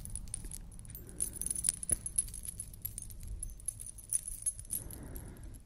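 A large beaded Maasai-style collar necklace, held up in front of the face, is moved by hand while long nails flick its hanging metal discs. The discs give off bright, rapid jangling and tinkling over a steady low rumble. A soft rustling swell rises near the end.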